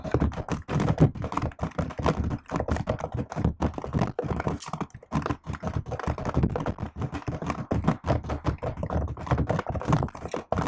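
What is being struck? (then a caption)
Plastic laptop keyboard keys. Fingertips and long nails type steadily on a laptop keyboard with plastic keycaps for about eleven seconds. The result is a dense, uneven stream of short, dry clicks and soft thunks, weighted toward the low end with very little high brightness.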